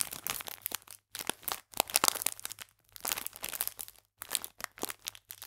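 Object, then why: Clear plastic film biscuit pack. An elongated clear plastic film pack full of sour cherry biscuits is squeezed and crinkled with fingertips and long painted nails. Bright, dry crinkling and crackling comes in bursts, separated by brief silent pauses. The sound is high and crisp, with almost no low end.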